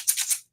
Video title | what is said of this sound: Little Bit of I Told You So!!! | you could shake the cans and if the cans sound like this then it's all bean